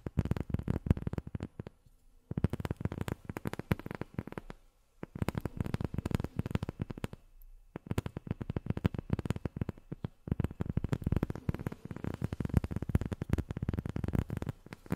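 A round, black, hand-sized rubber sheet, thin and flat and held in the hands, is tapped and scratched with long natural nails. Rapid, dense bursts of soft, dull, low-pitched tapping come in stretches broken by brief pauses. Each tap dies away almost instantly, with little brightness.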